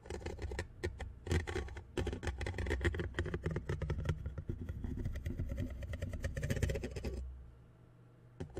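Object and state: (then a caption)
Metal mesh microphone grille. Metal tweezers held by hand scratch and tap along the side of the black metal mesh grille on a condenser microphone's hollow head. The result is a dense, continuous run of scratchy rasps and quick taps with a deep, boomy low end. It stops just after seven seconds, leaving near silence before one last soft tap at the end.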